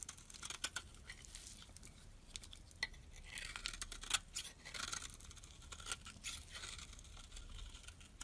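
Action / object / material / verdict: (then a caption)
scrape / bar of soap shaved with a metal blade / soap / none. A utility knife's metal blade shaves the surface of a solid white, mostly carved bar of soap held in the fingers. Quiet, bright, crisp scraping strokes and short shaving bursts repeat throughout, with a faint low hum underneath.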